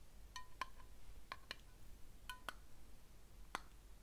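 A small patterned ceramic candle jar with a lid is held in the hands and tapped with fingernails. It gives sharp, scattered clinking hits, each a brief bright ring around 1 kHz that dies away almost at once, over a quiet low background.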